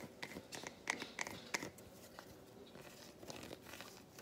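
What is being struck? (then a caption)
Solid milk chocolate bar. An unwrapped solid milk chocolate bar, held in both hands, is handled and scratched with long white nails. Quiet, dry, crisp scratches and sharp clicks come in uneven bursts, with a bright edge and almost no ring.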